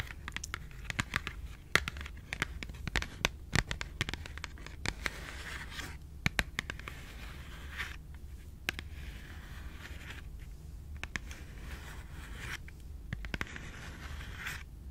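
Long pink nails tap and scratch a small, closed, rectangular Schogetten cardboard chocolate box. Quick, dry, sharp clicks are scattered among papery scraping rasps, all over a steady low hum.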